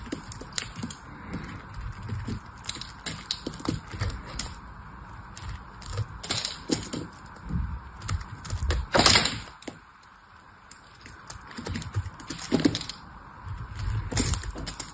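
A cream-colored solid bar of soap is held in the hand while its edge is shaved with a small metal knife. Crisp, bright cutting and scraping clicks come in irregular bursts, with one louder scrape near the middle, over a faint steady hum.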